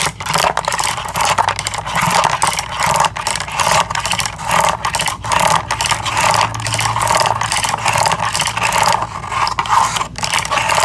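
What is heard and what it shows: A small cardboard retail box with a window showing several pink bamboo toothbrushes is held in both hands and tapped and scratched with long acrylic nails. The result is a steady stream of fast, crisp taps and dry scratching across the cardboard, with a bright papery midrange and little low end.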